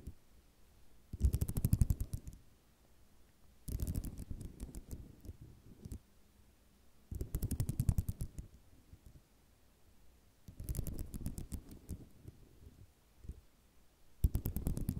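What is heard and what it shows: Long fingernails tap and scratch across a flat sheet of small white square ceramic mosaic tiles resting on cloth. The sound comes in five bursts of quick, dense clicking and rattling, each separated by brief quiet pauses. It has a soft, low-heavy thud underneath the sharp clicks.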